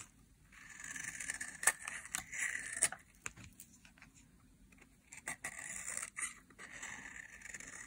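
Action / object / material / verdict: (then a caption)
scrape / bar of soap scraped with a knife blade / soap / none. A utility knife blade scrapes thin flakes off a bar of dry, solid yellow soap held in hand, with the shavings piling up below. The sound is a dry, crisp rasping with bright hiss and sharp little clicks as the blade catches, in two bursts of strokes separated by a quieter stretch.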